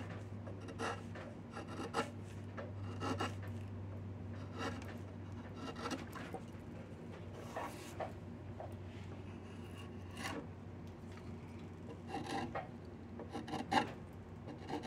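A handheld chisel scrapes and carves along a solid diamond willow walking stick with diamond-shaped knots, producing repeated dry, rasping strokes over a quiet, steady low hum. Some strokes land as sharper scraping bursts, with brighter ones near the end.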